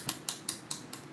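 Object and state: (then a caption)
Acrylic nail not yet dry. An acrylic nail on a practice hand is tapped five times, giving short, light, bright clicks that die away almost at once. The nail is not yet dry and still curing, so it sounds different from a dried nail.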